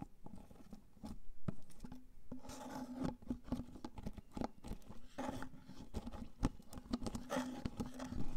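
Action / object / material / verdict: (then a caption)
tap / plastic cream jar with plastic lid / plastic / none. Fingernails tap the white plastic lid and sides of a large clear plastic Elizabeth Arden jar full of white cream. The result is a rapid series of quick, dry clicks with a low, hollow tone around 260 Hz and almost no ring.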